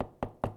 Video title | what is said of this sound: Bauer Vapor APX2 Hockey Shoulder Pad Review | you can hear how it sounds like plastic